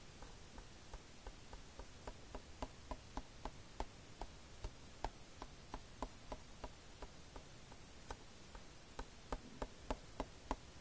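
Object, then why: Plastic DVD case. Fingertips tap the cover of a plastic DVD case near its edge as it lies flat on a blanket. The result is a quiet, uneven run of quick, dry clicks with a hollow midrange knock. Each tap dies almost instantly over a soft low background hum.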